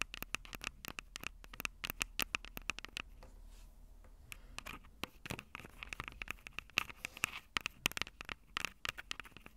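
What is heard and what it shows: Long purple acrylic nails tap and scratch the two small crossed metal mesh microphone capsules of a Tascam DR-05 handheld recorder, which has a hollow plastic body. Dozens of sharp, bright clicks with no ring come in quick, uneven bursts, each with a metallic ping around 2.7 kHz. Around the middle there is a short, quieter stretch of soft scratching before the tapping picks up again.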